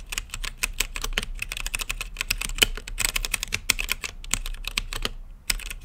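Fingertips type steadily on a mechanical keyboard with plastic keycaps and a translucent lit case. Each keystroke is a short, sharp, bright clack, and the clacks run in a rapid, uneven stream. The typing pauses briefly near the end, then resumes.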